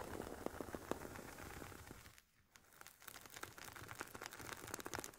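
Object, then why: Semi-rigid headphone case with woven nylon cover. Long painted nails scratch and tap the woven nylon fabric top of an oval, hollow, semi-rigid carry case for Sony WH-1000XM4 headphones. Soft crinkly scraping runs under crisp, bright little taps, with a brief quiet pause near the middle before the scratching and tapping resume.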